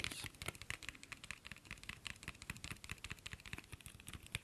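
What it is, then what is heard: Cardboard incense box tapped. Fingertips and nails tap rapidly along a long, thin, hollow cardboard box of Black Opium incense sticks with red and black print, held in both hands. Around thirty quick, dry, bright clicks come in an irregular patter, each dying away almost instantly, with a soft hollow thump beneath some of the taps.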